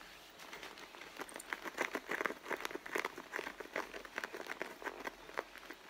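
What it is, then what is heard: Leather handbag. Fingertips and long blue nails scratch and tap the front panel of a medium, hollow, soft red pebbled-leather handbag. The result is a quiet, steady run of quick, dry taps and rustling scratches. Each is short with no ring and sits in the mid-to-upper range with almost no low end.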